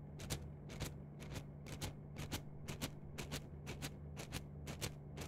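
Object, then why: Plastic mesh net sleeve. An empty, flexible yellow-green plastic mesh net sleeve is stretched, rubbed and scratched with long nails and fingertips. It gives quick, bright scratchy bursts, often in close pairs, at a steady pace of about two per second. A low constant hum runs underneath.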